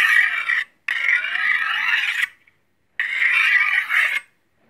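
A long, solid steel chef's knife has its blade stroked along a steel honing rod held in the other hand. Three separate metal-on-metal scraping strokes are heard, a short one followed by two longer ones with brief silences between. Each stroke is a bright, rasping hiss centered in the upper midrange, with no low end.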